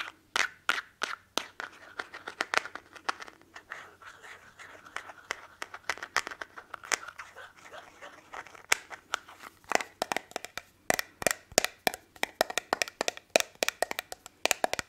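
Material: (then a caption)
Glass. Fingernails tap a small, faceted, hollow glass perfume bottle and its cap, held close to the microphone. Dozens of quick, bright, clicky taps die away almost instantly, scattered at first and then coming in faster, louder bursts in the second half. A faint low hum sits underneath throughout.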